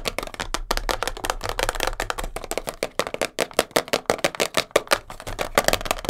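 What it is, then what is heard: Cardboard tape box. A small, hollow, printed cardboard box of Elastoplast kinesiology tape, first lying on a fur rug and then held, is tapped and scratched fast with long blue nails. The result is a rapid, dense run of short, dry, papery taps with a hollow body around 580 Hz and bright scratchy texture. Each hit dies away almost instantly.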